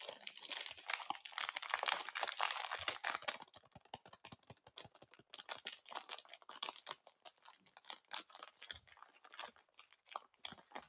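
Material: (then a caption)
Plastic film. A full-size Snickers chocolate bar in its crinkly plastic wrapper is held in both hands, and long black-painted nails and fingertips squeeze, rub and crinkle the wrapper while tearing it open. A dense, bright crackle of crinkling and tearing fills the first few seconds, then breaks into a quieter run of sharp, separate crinkles and ticks. The bar stays solid and still full.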